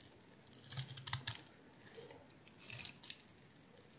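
A utility knife blade scores and scrapes the surface of a solid, hand-sized green oval bar of soap. The result is quiet, crisp, bright scratching and ticking in two short bursts, with a faint low thump underneath the first.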